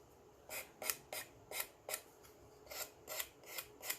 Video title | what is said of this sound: How to Decoupage - Decoupage DIY - Decoupage Ideas - Decoupage Décor - Tree Crafts | this back side is not glued very well cuz it almost sounds like it's Hollow when I'm filing